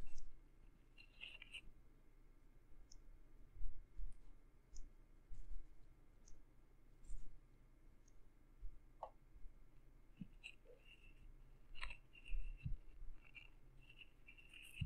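A wooden stick with a pink fluffy tip rubs and scratches inside the ear canal and along the rim of the left ear of a soft silicone microphone ear cover. Quiet, irregular soft clicks and brushy scratches with brief bright crackles sit over a steady low hum.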